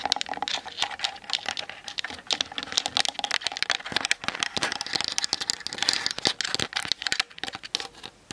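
Long nails tap quickly on the hollow plastic body of a Canon DSLR on a tripod, then on its plastic lens barrel, recorded by the camera's built-in mic. The result is a dense run of sharp, dry, bright clicks that die away instantly, centered near 3.8 kHz with almost no low end.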